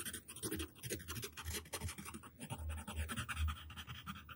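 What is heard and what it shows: A yellow wooden graphite pencil held in the hand scratches its tip across a flat white paper sheet lying on a table, drawing long lines. The sound is a continuous dry, rasping scratch with bright, papery streaks, rising and falling in bursts over a soft low rumble.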